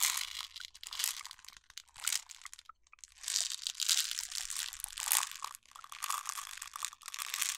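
A clear plastic jar full of jelly beans, with a yellow screw lid, is held in both hands and turned while long nails tap its label. The result is bright, crinkly crunching and dense, sharp clicking taps with almost no low end, rising and falling in irregular bursts throughout.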